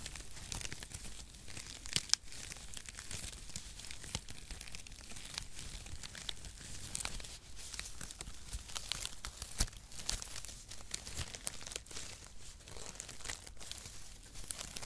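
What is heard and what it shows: Strands of brown cardboard packaging shreds are crumpled and fanned with fingers in front of a microphone. The result is a steady, dense crinkling and rustling with bright, papery crackle, occasional sharper snaps, and a soft low handling rumble underneath.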